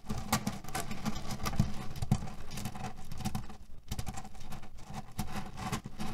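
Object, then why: Cotton pillow filled with cherry pits. A cotton canvas pillow filled with cherry pits is scratched and kneaded with fingernails and fingertips. It makes a steady, dense rattle of pits shifting and clicking together under a soft fabric rustle. The sound is mostly low and muffled, with quick sharper crunches now and then.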